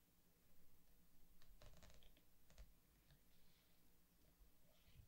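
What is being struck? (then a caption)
Glossy paper artbook pages. Fingertips and a palm rub across the glossy paper pages of a large softcover anime artbook lying open flat on a wooden table, then turn the pages. Soft, quiet swishing and rubbing runs throughout, broken by brief crisp, bright rustles as the pages lift and flip over a low background rumble.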